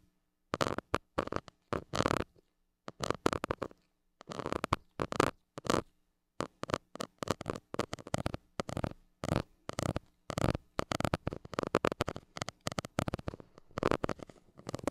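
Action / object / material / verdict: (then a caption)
scrape / metal mesh microphone grille scratched with a plastic stick / metal mesh / none. A white plastic stick scratches the hollow metal mesh grille of a small gold mini microphone. The result is a run of quick, dry, broadband scratching bursts in uneven clusters with short silent gaps, over a faint steady low hum.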